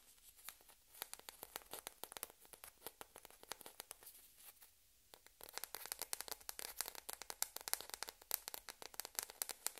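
A small, hollow, white plastic ping pong ball, held in both hands with another ball sitting idle nearby, is tapped and scratched with long red-painted nails. Quick, bright, dry ticks and crackly scratches come in a steady stream, thin out into a near-silent pause around the middle, then return louder and denser.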